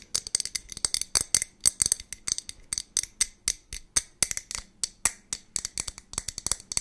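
Long nails tap rapidly on the body and lid of a clear glass jar that seems to hold a little liquid, held close to the mic. Roughly three dozen quick, sharp, bright clicks and ticks come in fast, uneven bursts, each dying away almost instantly with a faint glassy rattle and little low end.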